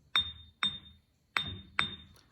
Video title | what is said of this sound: Bench Grinder | get much of a ring but you still hear a ding all right